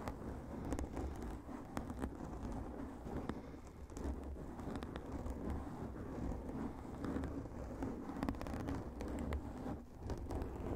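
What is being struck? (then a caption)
Foam microphone windscreen. Fingertips and short nails of both hands scratch a large, soft, porous black foam windscreen covering a microphone, with the mouth kept closed. The result is a dense, continuous, muffled rustling and scratching, heavy in the low end with little brightness, holding a steady level with small flurries of sharper scrapes throughout.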